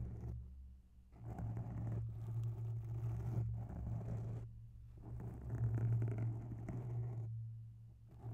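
Long bare nails slowly scratch the edge of a grey oval foam microphone windscreen up close. This produces a soft, muffled, low rumbling scrape with a steady hum around 110 Hz. The scraping comes in swells broken by brief quieter pauses.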